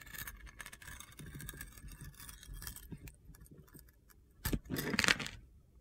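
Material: Soap.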